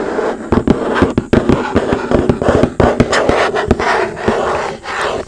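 Long nails and fingertips tap and scratch a large, hollow, red printed cardboard retail box for a Nintendo Switch OLED, held upright in front of the mic. Quick, dry, hollow taps with very short decay land over a steady scratchy rustle.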